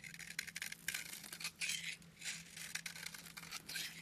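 A solid pink bar of soap, held in the hand, is carved and shaved with a metal utility knife blade. Crisp, bright scraping and cutting strokes come in quick, uneven bursts over a faint steady low hum.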